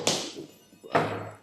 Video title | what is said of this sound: IFGF Cirebon -- Online Sunday Service 02 mei 2021 - Ps Handoyo Goenawan | bunyi ketok gitu aja kan ya. Keras bolanya memang besi.